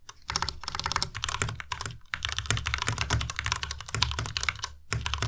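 A white Ducky Miya Pro tenkeyless mechanical keyboard with plastic keycaps is typed on fast with the fingertips of both hands. Rapid, dense keystrokes give bright clacks over a low thock, stopping briefly a few times before the typing resumes.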